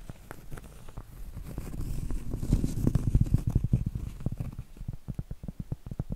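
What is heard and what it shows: A round, flat, solid cork trivet held upright is scratched and tapped with medium-length acrylic nails. Quick, irregular taps land as short, dull, low thuds over a soft scratching rustle. The sound builds to a denser, louder stretch in the middle before thinning back into separate taps.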